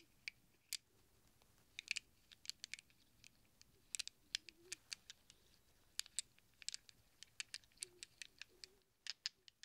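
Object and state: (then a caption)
Handful of chrome steel sockets. A cluster of small hollow chrome steel sockets held in a cupped hand is pressed and shuffled against each other by fingertips. It makes a quiet, irregular run of sharp, bright metallic clicks and clinks that die away instantly, with faint low rustling between the hits.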